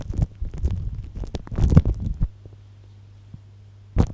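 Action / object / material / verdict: scrape / plastic cling film wrapped over a microphone / plastic film / none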